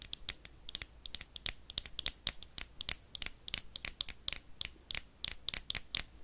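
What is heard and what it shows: Metal paperclips tap quickly on an empty small clear glass jar with a black lid. The result is a rapid, uneven series of sharp, bright clicks, each with a brief high ring that dies almost at once, over a quiet background.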